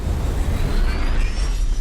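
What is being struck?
Nothing is struck.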